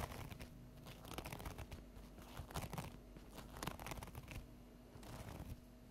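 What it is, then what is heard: Stack of paper napkins. Long acrylic fingernails scratch and tap the edges and top of an unwrapped stack of folded paper napkins with a euro print lying on a table. The result is a quiet run of dry, crinkly, papery scratches and soft taps in uneven bursts, with no ring after each touch.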